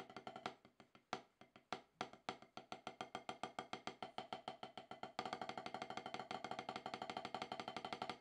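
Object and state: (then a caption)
Rubber drum practice pad. Two wooden drumsticks tap on a solid, octagonal HQ practice pad with a dark rubber surface, giving short, dry, woody clicks centered around 750 Hz. The strokes start as separate, uneven taps, then after about five seconds become a denser, louder stream of quick, steady strokes that continues to the end.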